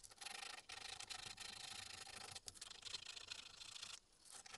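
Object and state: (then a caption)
Small carved wooden mask being sanded. A small, solid, light-colored wooden relief-carved tengu mask keychain is held in the fingers and rubbed with a small piece of sandpaper pinched between the fingertips. This produces a steady, bright, hissing sanding rasp in long strokes, broken by brief pauses, with almost no low end. Near the end the rubbing softens and then picks up again.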